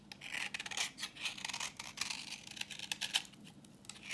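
A utility knife blade scrapes a solid, translucent reddish bar of dry vintage soap held in the hand, shaving off orange curls. A rapid series of short, dry, bright scraping strokes rasps and crackles, with almost no low end. Each stroke stops almost instantly.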